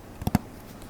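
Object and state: Metal DVD case.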